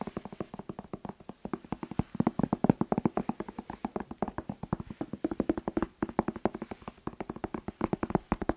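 A whole red bell pepper, hollow with glossy waxy skin, is held in the hands and tapped fast with the fingertips, about 68 taps in quick, uneven bursts. Each tap is a short, dull, hollow knock with a low resonant tone near 200 Hz that dies away almost instantly.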